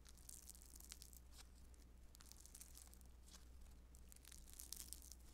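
A handful-sized, soft and solid blue lump of beaded foam modeling dough (Play-Doh Foam) is squeezed, stretched and kneaded with fingertips and long nails. It makes a quiet, continuous run of bright, crunchy crackling and tearing sounds with short crisp bursts, over a steady low hum.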